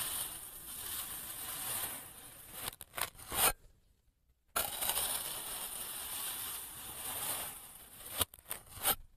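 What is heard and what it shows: An orange kinetic sand block is sliced repeatedly with a clear plastic knife held by fingers, captured by a microphone attached to the knife near the cut. Two long, bright, gritty scraping passes each end in a few sharp crunchy snaps, separated by a brief moment of silence.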